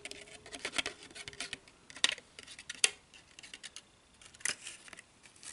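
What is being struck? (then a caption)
Pleated paper baking cup scratched with fingernails. Long nails and fingertips scratch and crinkle a small, hollow, empty pleated paper cupcake liner held up close. The sound is a dry, bright, irregular crackle of soft scratches, broken by a few sharper, louder crisp snaps. Each sound stops almost instantly, with no ring after it.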